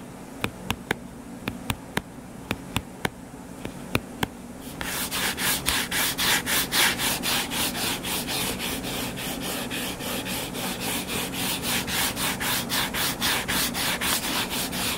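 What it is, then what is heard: Hardcover book being scratched. A closed, solid hardcover paper book lies flat while short fingernails work on its cover. It begins with a series of sharp, separate clicking taps over a faint hiss. After about five seconds this gives way to steady, rhythmic bright scratching strokes that continue, slightly louder, to the end.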